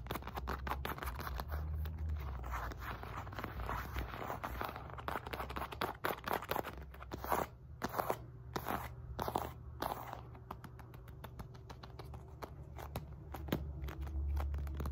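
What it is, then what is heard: Synthetic leather medicine ball. Long nails rapidly tap and scratch across the seams of a solid red and white stitched synthetic leather medicine ball weighing 4-5 lb. The result is a dense run of dry, crunchy clicks and scrapes with almost no ring, over a steady low hum, with a few sharper, sparser taps near the middle.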